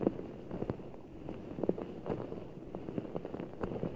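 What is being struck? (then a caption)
Large ball of water gel beads in a clear rubber skin. Fingertips squeeze a full giant Orbeez ball, a large soft ball of blue water gel beads in a clear rubber skin, held over the mic. The result is a steady run of soft, wet squishes and dull little pops and clicks that stay low and muffled, with no bright edge.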